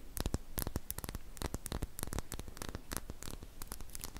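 Long painted fingernails tap and scratch a small glass serum dropper bottle with a silver cap, which appears to hold liquid, held close to the face. Rapid, sharp clicks and scratchy strokes come in a dense, uneven stream over a soft low rumble, with each tap dying away almost instantly.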